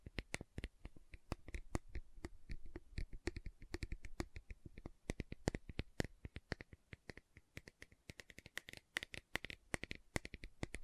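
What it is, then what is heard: Plastic gel jar tapped and scratched. Long nails tap and scratch the lid and side of a large round green plastic aloe vera gel jar. A rapid, uneven run of short, dry clicks and scrapes is heard, each dying out almost instantly with a bright, hollow plastic edge.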